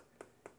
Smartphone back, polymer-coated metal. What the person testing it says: if you tap on this hear a loud sort of hollow sound